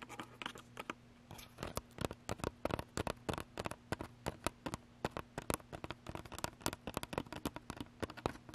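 Long pointed nails tap quickly and unevenly on the hollow plastic body of a Canon DSLR camera mounted on a tripod, striking its top plate and around the lens barrel. Dozens of short, dry clicks with a light scratchy edge ring off almost instantly over a faint, steady low hum.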